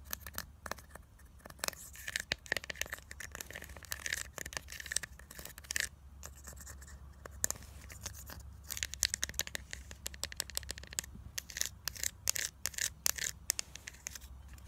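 Long nails scratch and tap the surface of pink pressed powder embossed in a grid, inside a small black plastic blush compact held in both hands. Many short, dry, bright scratches and crisp clicks come in quick irregular bursts, with no ring after each one, over a faint steady low hum.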